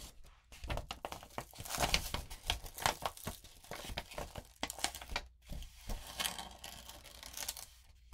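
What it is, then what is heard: Glitter-coated paper sheet. A flat palm and long painted nails rub and press a sheet of lined notebook paper coated with rainbow glitter, lying flat on a wooden table with other sheets underneath. The result is a dense run of bright, scratchy crinkling and rustling in quick, uneven bursts, with brief quiet gaps between strokes.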